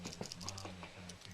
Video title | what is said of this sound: winter bass review | it's got a rattle in it